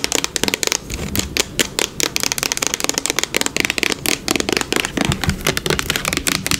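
Long nails rapidly tap and scratch the body and label of a yellow plastic hair product bottle lying on its side and held in the hands. Some 33 quick, dry clicks ring off almost instantly over a steady bright scratching hiss, with most of the energy high and little low end.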